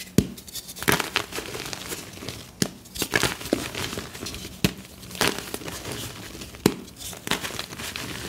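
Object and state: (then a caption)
Gym chalk block crumbling and snapping. Fingertips crumble loose blue-dyed magnesium carbonate gym chalk powder in a plastic bin, then both hands squeeze a small solid block of the chalk and snap it in two. A soft, dry crunching and crinkling runs throughout, punctuated by sharp, bright cracks that die away almost instantly.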